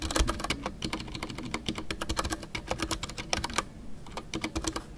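Fingertips type continuously on a full-size Ducky One 2 mechanical keyboard with a white case, MX Brown switches, and PBT plastic custom artisanal keycaps. The result is a rapid, steady stream of short, dry keystroke clacks with a low thock and bright tapping tops, each stroke dying away almost instantly.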